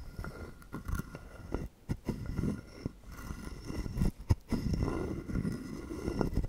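A wooden stick is scraped along the ridges of a hand-sized, hollow carved wooden frog guiro held in one palm, and tapped against its body. It makes dry, low, woody rasps and short clicks that come in bursts with brief pauses between them.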